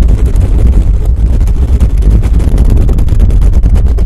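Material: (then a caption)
Metal mesh. Fingernails of both hands scratch quickly at a hollow black metal mesh microphone head. The result is a loud, continuous, deep rumbling roar with almost no high end, fluttering rapidly as the strokes pass over the mesh.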